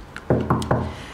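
Knuckle-style knocks on the middle of a plaster-covered concrete wall that has a duct running behind it, so it sounds hollow even though it is solid concrete. A faint tap is followed by three loud, low, hollow knocks with a short boomy ring. The hollow sound is normal here, caused by the duct behind the wall.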